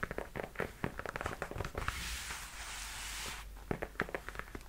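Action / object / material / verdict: tap / leather high-heel boot / leather / none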